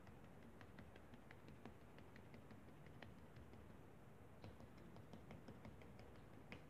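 The edge of a blue plastic spatula repeatedly taps and presses into flattened pink kinetic sand on a foil paper plate, making line impressions. Soft, short, dull taps with faint bright clicks sound over a quiet, low, steady background, each tap dying away almost at once.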